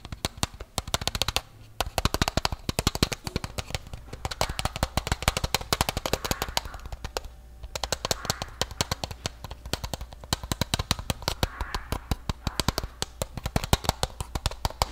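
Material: Metal.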